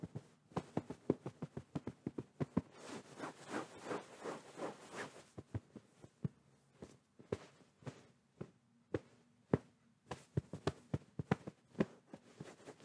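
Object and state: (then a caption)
Fabric pillow patted. A medium, soft white fabric pillow is held against the microphone while palms pat and tap it quickly. The result is a run of short, muffled, low thumps that die away almost instantly. A stretch of softer, continuous rustling patting in the middle leads back into sharper, scattered taps.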